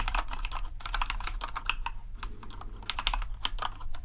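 Both hands type steadily with the fingertips on a compact white plastic RGB mechanical keyboard, producing a rapid, continuous run of short, bright clacks. A steady low hum sits underneath the typing throughout.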